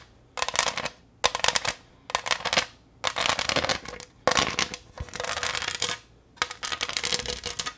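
Long nails tap and scratch the textured surface of a green pressed-glass pineapple tray held close to the microphone. Bright, crackly bursts of rapid clicking and scraping come in about seven separate bouts, each lasting under a second or so, with short quiet gaps between them.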